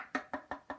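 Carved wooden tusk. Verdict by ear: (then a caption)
Solid. Knocks along the solid, not-yet-hollowed section of a wooden elephant tusk replica carved from a block, just before the hollowed part. Four short, dry wooden knocks come at an even pace, with another starting as the clip ends. Each is a mid-pitched thud that dies away almost at once, with no hollow ring, so the section sounds solid.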